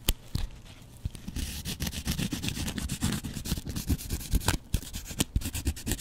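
A double-edge razor blade is scratched across a yellow porous foam kitchen sponge with a dark scouring layer. It makes a dense, rapid run of dry scratching and rubbing strokes with a heavy low rumble. Sharp, bright crackling ticks cut through, and each one dies away almost instantly.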